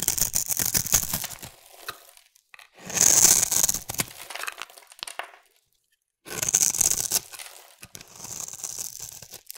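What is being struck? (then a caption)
Bar of soap scraped with a metal blade. A solid rectangular green bar of soap, held in one hand with long nails, is scraped with a metal blade that shaves off flakes. Bright, dry, crisp scraping and tearing sounds come in several bursts of strokes, with short quiet pauses between them.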